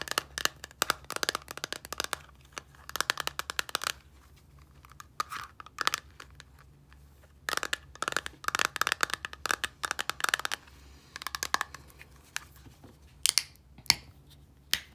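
Long nails scratch the label and tap the turquoise plastic cap of a small clear plastic micellar water bottle with liquid inside. Quick, bright, dry clicks and scratchy rasps come in dense bursts separated by short quiet pauses. A faint low hum runs underneath.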